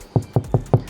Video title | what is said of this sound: Can This Audio Upgrade Make Your MG HS Awesome? - MG HS Sound System Upgrade by Cambridge Car Audio | so that sounds nice and solid,